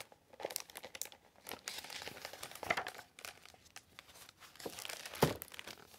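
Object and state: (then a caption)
Hardcover book pages being turned. Thick glossy paper pages of a large illustrated hardcover book lying open on a wooden table are turned and flipped by fingertips with long acrylic nails. The result is a continuous bright rustle and flutter of crinkling paper, with sharper, louder page snaps near the middle and toward the end.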